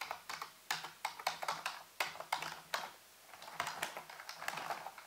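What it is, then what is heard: Plastic computer keyboard. Fingertips tap slowly on the hollow keys of a full-size black plastic computer keyboard resting on a white base, with both hands typing. Crisp, bright plastic clicks die away almost instantly, spaced irregularly with a brief pause in the middle before the tapping resumes more densely.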